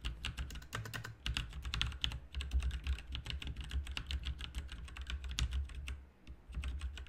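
Both hands type rapidly with their fingertips on a full-size RGB mechanical keyboard with plastic keycaps, producing a dense stream of short, bright clacking key taps with a brief pause near the end. A steady low hum runs underneath the whole time.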